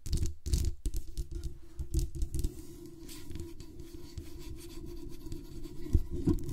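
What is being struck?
Metal desktop microphone grille and body.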